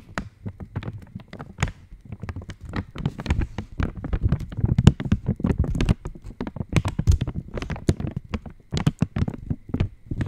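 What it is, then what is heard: Metallized plastic wrapper. An opened Cadbury Dairy Milk wrapper of foil-lined, metallized plastic is held near the mic and tapped with long nails. The result is a rapid, uneven stream of short, dry taps and crinkles, mostly low and thuddy, with brief bright clicks that die away almost instantly.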